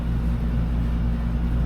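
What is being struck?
Nothing is struck.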